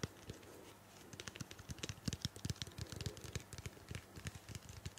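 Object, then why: Plastic shampoo bottle tapped with fingernails. A medium blue-purple plastic shampoo bottle, hollow and likely filled, is held in the hand and tapped and scratched with long painted fingernails. A soft scratchy rustle gives way to a quick, uneven flurry of short, dull, low taps with bright clicky edges. The taps stop dead with no ring, and the overall level stays quiet.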